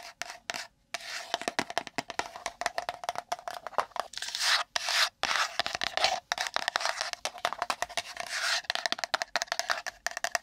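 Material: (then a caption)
Cardboard. Long nails rapidly tap and scratch a small, empty, hollow pink printed cardboard Maneki Neko gift box held beside the microphone. The result is a dense stream of fast, dry clicks and raspy scratching with a faint hollow tone around 690 Hz. The sound is bright and thin, with almost no low end and brief pauses between bursts.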